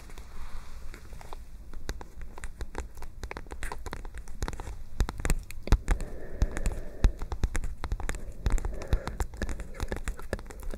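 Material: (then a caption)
Paper. A medium-size white lined-paper spiral notebook, held up in both hands, has its page edges and surface tapped and fluttered with long nails and fingertips. This makes a dense, irregular run of quick, dry paper taps and crackly flutters over a low, steady rumble.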